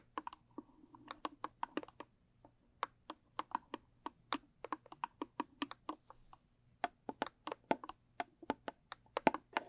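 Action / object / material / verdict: tap / rigid cardboard box / cardboard / none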